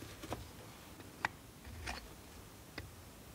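A steel multitool knife scrapes and carves a solid blue bar of soap held over a pile of shavings. A few short, dry, bright ticks and scrapes stand out against a quiet, low rumbling background, each fading almost at once.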